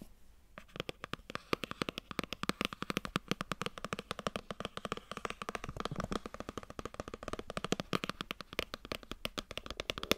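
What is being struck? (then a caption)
Cardboard box. A white cardboard iPhone box is turned in the hands while long nails tap and scratch its sides and edges. After a brief quiet start, a fast, steady stream of dry, crisp clicks and scratchy rasps follows, bright and papery with no ring after each tap.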